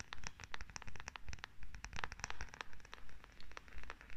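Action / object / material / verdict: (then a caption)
scrape / wooden massage tool / wood / none. Long nails scratch and tap a solid wooden massage tool with a rounded head and a handle, held in both hands. Dense, crisp, bright clicks and scratches come in steady rhythmic swells about twice a second over a soft low rumble, each tap dying away almost instantly.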